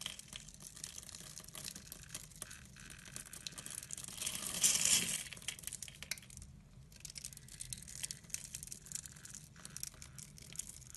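A pink-handled utility blade scores a grid into a solid translucent blue glycerin soap bar held in the hand and shaves off small cubes. The result is a steady run of bright, crisp scratching and crinkly cutting, swelling into a louder, fuller scrape midway before settling back to fine scratching.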